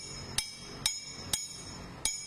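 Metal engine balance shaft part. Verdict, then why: Solid. A solid metal part from a Toyota Estima balance shaft is tapped four times as a reference for the sound of real metal, in contrast with the broken part. Each tap gives a sharp, bright metallic clink that rings briefly over a steady low background hum. The part sounds solid and normal.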